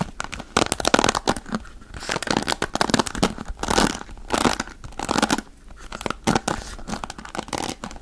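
Fingertips scratch the dark bristles of a wooden paddle hairbrush held close to the microphone. The result is dense, crackly scratching in uneven bursts, with bright bristle rasps swelling and fading across the clip.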